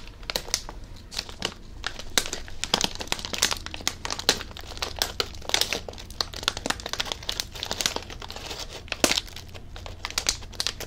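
A blue Covered Bridge potato chip bag made of plastic foil and full of chips is crinkled and squeezed with the fingers. Dense, bright crinkling comes in a steady stream of short, sharp bursts with almost no ring, over a faint low hum.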